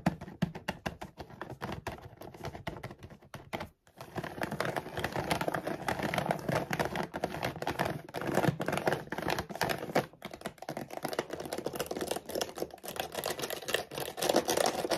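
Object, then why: Large laminated plastic bag of dog food. Long nails tap rapidly along the top edge and side of a large laminated plastic dog food bag that appears full, producing a dense, fast stream of sharp, crinkly clicks and scratchy rustles. The taps continue almost nonstop, with a brief pause just before the 4-second mark and another around 10 seconds.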